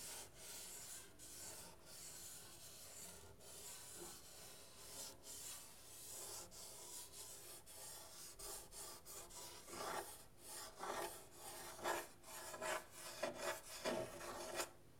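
Fingertips scratch across the lower painted area near the soundhole of a painted wooden soundboard on a half guitar with a thin hollow body. A steady, bright, raspy rubbing runs throughout, and toward the end it gives way to louder, separate scratching strokes that bring out a hollow, woody resonance around 580 Hz.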